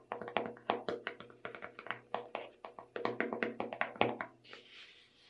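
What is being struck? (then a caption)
Small plastic tub of sugar sprinkles. Long red nails tap the lid and sides of a small clear plastic tub full of colorful sugar sprinkles, its lid bearing a purple label. A quick run of sharp, hollow plastic clicks with a mid-range ring follows, and a soft, bright scratchy hiss closes the clip as the taps fade.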